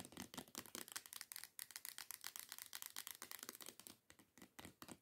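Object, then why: Plastic body scrub bottle. Long decorated nails tap rapidly on a teal plastic body scrub bottle lying on its side. A quick, steady run of short, dry, bright clicks, each dying away almost at once, with little low end and a quiet overall level.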